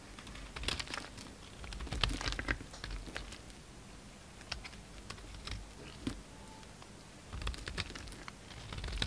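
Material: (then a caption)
Soap. A utility knife chips and scrapes chunks off a solid pink soap bar held in the hand. Quick, dry, crisp clicks and scratchy scrapes come in uneven bursts, with short quiet pauses between them.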